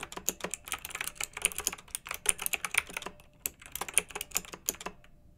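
fingertips type steadily on a pink backlit, typewriter-style plastic mechanical keyboard with round metal-rimmed keycaps. Rapid, uneven bursts of sharp, bright clicks and clacks cut off almost at once, with very little low-end thump under them.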